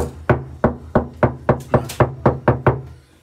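Knocks on the undamped left-side fender sheet metal of a Hyundai Stargazer, before a full VTech sound deadener is installed, give ten quick, hollow taps with a low body and very short ring. The panel sounds tinny, which is the reason for installing the full deadener.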